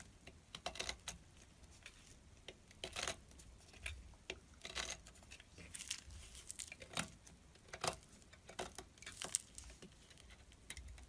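A solid orange bar of soap is cut into thin strips with a small metal blade, with a pile of shavings beside it. Quiet, bright scraping and crisp crumbly crackles come in short bursts, with no ring after each cut.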